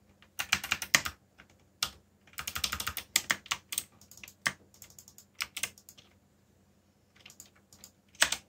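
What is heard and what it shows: Fingertips type on the keycaps of a backlit black plastic mechanical keyboard, producing irregular bursts of bright, crisp keystroke clicks separated by short pauses. Each click is sharp and dies away almost instantly, over a faint steady low hum.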